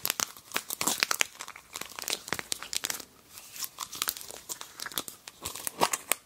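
A small, round, translucent yellow plastic pot with a snap-on lid, hollow and empty, is held in both hands while long painted nails pry the lid off and press it back on. Rapid, bright snaps and clicks of the plastic rim mix with crinkling, tearing-like rustles, each sharp and dry with almost no ring and little low end.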